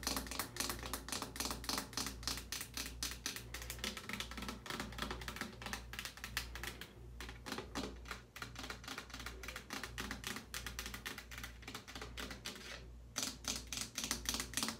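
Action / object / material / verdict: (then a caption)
tap / plastic shampoo bottle / plastic / none. Long painted nails and fingertips tap rapidly on the front and cap of a tall green Suave plastic shampoo bottle, apparently full, standing on a metal shower caddy. The result is a dense, uneven run of bright, clicky taps that die away quickly, over a steady low hum, with brief lulls near 7 and 13 seconds.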